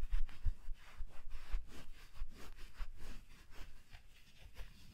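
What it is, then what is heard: Fleece gloves rubbing together. A pair of soft black fleece fabric gloves, worn on both hands, has its gloved palms and fingers rubbed against each other close up. The result is a steady run of soft, rhythmic brushing swishes, each stroke a breathy fabric scrape over a low rumble. The level rises and falls with each pass and eases slightly toward the end.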